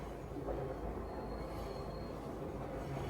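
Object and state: Nothing is struck.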